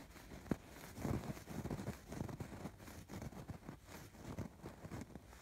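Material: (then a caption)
Fabric. Fingertips and short nails scratch across the raised red, pink and blue chain-stitch embroidery on a soft stuffed throw pillow. Quiet, dull scratchy rustles come in irregular strokes, mostly low and muffled with little brightness. A brief sharper tick stands out near the start.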